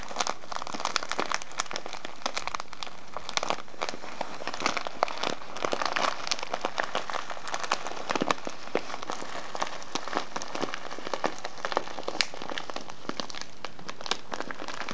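A brown kraft-paper tea package with a clear plastic window, full of loose tea, is squeezed and crinkled by fingers and then set upright. A steady, dense crackling rustle runs throughout, peppered with sharp, bright paper snaps and ticks.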